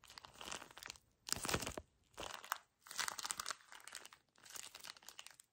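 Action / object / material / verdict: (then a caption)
scrape / small paper tissue pack in a thin plastic wrapper / plastic film / none. A small plastic-wrapped paper tissue pack is gripped and squeezed hard with fingers, producing bursts of bright, dense crinkling from the plastic wrapper. About five separate squeezes are heard, each a rough, crackly surge with short gaps of near silence between them.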